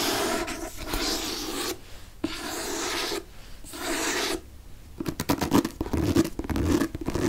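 Fingernails rub and scratch along the spine and back cover of a green hardcover paper book, producing steady, bright, papery rasping strokes separated by short pauses. After about five seconds, the sound turns into quicker, choppier scratches with sharper bursts.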